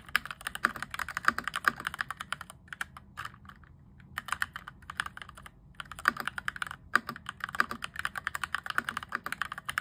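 Fingertips type rapidly on a cheap RGB-backlit mechanical keyboard, modded from clicky to thocky, with cream and grey plastic keycaps and an orange plastic frame. Dense bursts of short, dry keystroke clacks centre around 1.5 kHz with almost no low end, broken by brief sparse pauses near the 3-second and 5-second marks.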